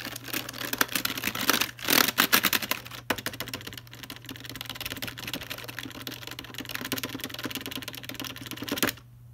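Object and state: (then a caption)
Plastic computer keyboard. Fingertips tap on the keys and the space bar area of a full-size black plastic Logitech keyboard. The result is a fast, irregular stream of short, bright plastic clicks that swells into louder taps around two seconds. The tapping then stops just before the end, leaving only a faint steady low hum.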